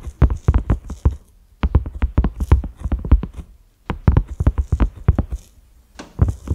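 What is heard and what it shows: A large, flat cream silicone pot lid with concentric ridges and a black center knob is tapped with the fingertips and short nails of both hands. The result is quick runs of soft, dull, low thuds in four bursts separated by brief pauses, with faint light clicks above them. Each tap dies away almost instantly.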